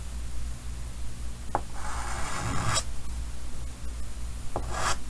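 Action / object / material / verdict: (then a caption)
scrape / chalk on a painted wooden-framed chalkboard / chalk / none. White chalk is drawn across a large, solid painted chalkboard set in a green wooden frame, marking a big circle and details. Two strokes each begin with a sharp tap and then become a bright, scratchy rasp. A steady low hum sits underneath.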